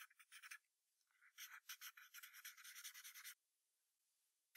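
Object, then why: Graphite pencil on a paper sheet on a hardboard clipboard. A yellow wooden pencil draws a fox's legs near the bottom of a white paper sheet resting on a brown hardboard clipboard. Quick, bright graphite strokes scratch and rub in short bursts, with a near-silent pause partway through before a final stroke.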